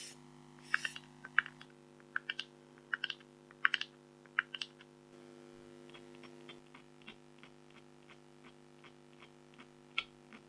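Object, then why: Coated scratch-art card scraped with a stylus. A red-handled scraper pen scratches short strokes into the black coating of an A4-size black scratch-art card (coated board). About 19 sharp, dry, bright scratches come in an irregular rhythm, louder in the first half and softer after. A steady low hum with tonal bands runs underneath.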